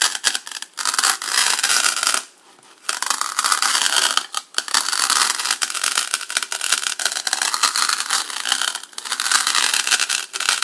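A large serrated black knife is dragged back and forth across the top edge of a solid white polystyrene foam block with a cut groove, sitting on a table, in a sawing, rubbing motion. It makes a steady, crinkly, bright scraping with no low end, broken by a short silent pause around two seconds in and brief dips later.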